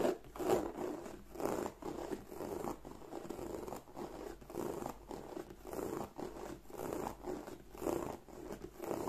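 Fingertips with long nails scratch and rub across the textured flap and body of a large black glossy croc-embossed leather (likely faux) handbag with a front flap, held upright. Soft, uneven raspy scraping swells and fades in repeated strokes, with most energy in the low-mids around 400 Hz and little high or low content.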